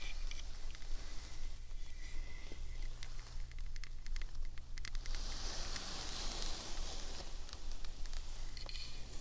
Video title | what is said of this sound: 💜✨Tingle Club Members Appointment - ASMR Roleplay✨💜 | It's amazing how many different sounds you can get from one piece of wood. This is a carved doll with different parts